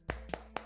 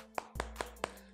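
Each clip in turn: First: Three short, dull knocks around 640 Hz with no ring: a solid, dense plastic phone back. Second: Four quick, dry knocks on a thin plastic phone back; they sound slightly hollow, with a cavity behind.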